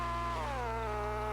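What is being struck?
Nothing is struck.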